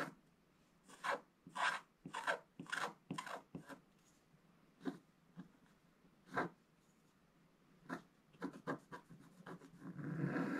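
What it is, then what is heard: Scratch-art card being scratched. A wooden stylus scratches a chest drawing into a flat, solid black-coated scratch-art paper card. Short, dry, rasping strokes come in irregular bursts separated by quiet pauses. The clip ends in a longer, steadier scratch that grows louder and brighter.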